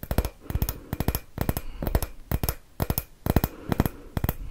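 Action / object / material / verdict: tap / glass Christmas bauble / glass / none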